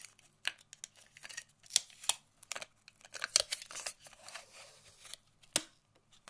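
Long nails tap a small, clear, hard-plastic tape dispenser holding a roll of tape. The result is a quick, irregular series of sharp, bright clicks with faint crinkly scratching between them, and each tap stops almost instantly with no ring.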